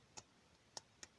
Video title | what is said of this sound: ToyBiz Marvel Legends Fearsome Foes Box Set Spider Man A Chewy Mew Review! | the torso, you can kind of hear it's like, it's hollow because obviously you're not going to make this solid